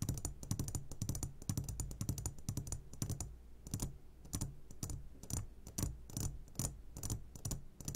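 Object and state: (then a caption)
Glass jar full of candy, tapped. A medium glass jar, turned upside down and full of sugared gummy candies, is tapped on its sides with the short fingertips of both hands. Quick, irregular taps and clicks come in dense bursts, each with a low body and a bright, crisp top and almost no ring, like rapid typing.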